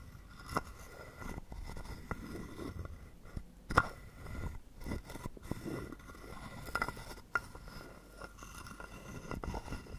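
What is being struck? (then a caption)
Carved wooden frog guiro. A hollow carved wooden frog guiro is held in the palm while a wooden stick rubs across the ridges on its back. The result is soft, dry scraping and ratcheting with sharp clicks and a faint hollow ring near 1.4 kHz. Several louder strikes stand out above a quiet, low-heavy background.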